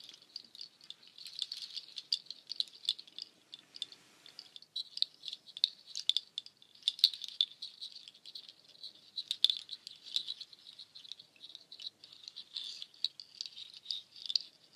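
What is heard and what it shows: A nut shell waterfall shaker, made of long hanging strands of white cord threaded with many dark, hard, hollow nut shells, is held up by the top and shaken while the strands are brushed and rattled with long painted nails. The result is a dense, bright clattering rattle of tiny, quick shell clicks centered around 3.5 kHz with no low end, briefly thinning out near the four-second mark before continuing steadily.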